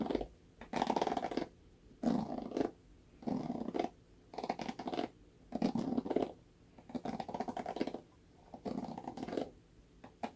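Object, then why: Plastic paddle hairbrush bristles. Fingernails scratch the black bristle pad of a red plastic paddle hairbrush held by its handle. Each stroke is a dense, scratchy rasp centered in the low midrange, repeating in short bursts with near-silent gaps between them.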